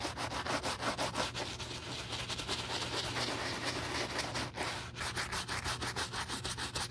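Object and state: Leather cowboy boot being scrubbed.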